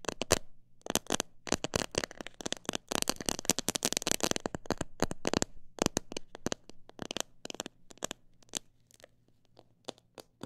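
Long black nails tap fast on the sides of a clear plastic jar full of mixed bird seed. They make rapid, sharp, bright clicks with a light crackle, over a faint steady low hum. The tapping is densest in the middle and thins out to sparser, scattered taps by the end.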